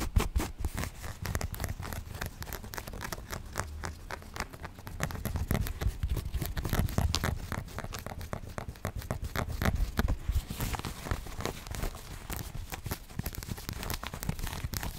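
Long nails scratch the blue denim placket of a jacket and tap its metal shank buttons. The result is a dense, steady patter of soft scratches and quick clicks. Most of the energy sits low, with brief, dry transients throughout.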